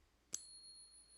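A bullion coin held in a pocket coin ping tester is flicked once, giving a bright, high ring with a steady partial. The tone sustains for over a second after the strike. No verdict is given on whether the coin is real.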